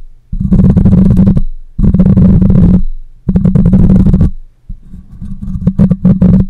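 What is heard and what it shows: Long nails and fingertips scratch and rub the hollow metal mesh grille of a black condenser microphone. The close pickup turns it into four loud bursts of dense, low, rumbling scrape with a steady hum near 180 Hz. The last burst breaks into sharper, uneven taps.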